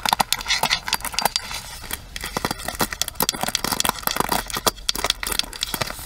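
Long nails tap the hollow plastic handle of a pink plastic paddle hairbrush, then move on to the side rim of the brush head. The result is a rapid, uneven run of sharp, dry, bright clicks with almost no ring.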